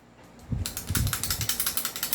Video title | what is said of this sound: Review N Unbox of 6.0 KP19 & 2011 3.8 AWC | hawakan natin sa compensator, hawakan natin, kalugin ko, ayan, kumakalog